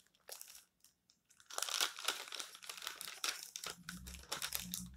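Fingertips rub, flatten and crumple the thin glossy paper pages of a magazine lying open flat on a stack of magazines on a table, then turn them. Dense, bright crinkling and crunching comes in irregular bursts, quiet at first and then louder and nearly continuous, with a faint low hum underneath toward the end.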